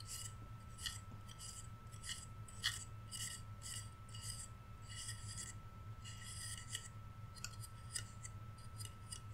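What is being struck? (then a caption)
Flat painted wooden reindeer cutout. The antler edges of a solid, flat, painted wooden Rudolph reindeer cutout, held sideways, are rubbed and scratched with fingertips and nails. A quick series of short, bright, dry rasping scratches runs over a steady low hum, each stroke stopping almost at once with no ring.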